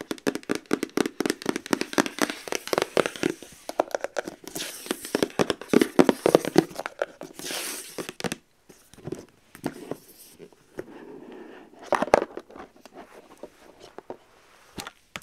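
Long nails tap rapidly and irregularly on the lid of a rigid white cardboard gift box, making dry, short clicks and bursts of bright scratching. The lid is then lifted open at the end with a soft scrape of cardboard.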